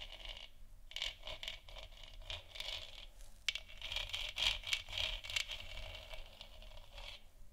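Long nails scratch the textured surface of a large hollow plastic moon lamp sphere, making a quiet, bright, dry scraping. Quick, uneven strokes run together, concentrated around 2.7 kHz, with little low end and no ringing after each stroke.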